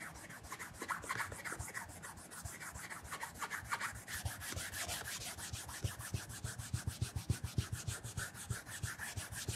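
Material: Leather.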